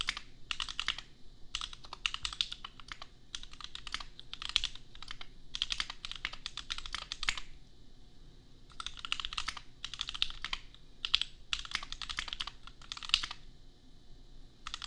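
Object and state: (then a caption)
Plastic mechanical keyboard. A $250 custom 60% mechanical keyboard with Gateron Milky Yellow switches and red and white plastic keycaps, resting on an anime desk mat, is typed on with the bare fingertips of both hands. Bursts of rapid, bright, clacky keystrokes, centered around 3.4 kHz, are separated by short pauses. Each keystroke is crisp and dies away almost instantly.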